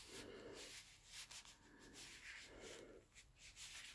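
Gloved palms and fingers in black leather gloves, worn on both hands with a metal wristwatch visible, are slowly rubbed and slid against each other. The result is a smooth, continuous leather rubbing sound with a bright, hissy texture and soft low-mid swells as the strokes rise and fall.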